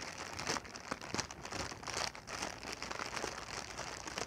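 A clear, hollow, air-filled plastic air-cushion packing pillow is held in the hands and squeezed and crinkled with the fingertips and long nails. The result is a steady, bright crinkling and crackling of thin plastic, with sharper snaps over a soft rustling bed.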